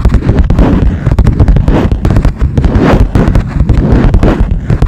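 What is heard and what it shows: Long nails tap fast on the top of a smooth, hard, cream-colored plastic lap desk. The result is a dense, continuous patter of sharp clicks over a strong low, hollow thump from the desk, with brief bright edges on each strike.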